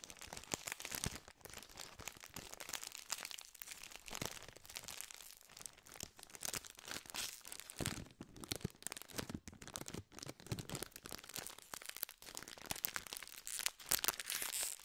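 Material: Metallized plastic.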